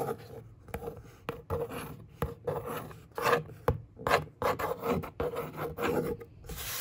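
Long fingernails scratch and trace back and forth across a hollow brown corrugated cardboard box panel. The result is dry, raspy bursts of scraping in an uneven rhythm, centered in the mids around 560 Hz, with sharp little clicks between strokes.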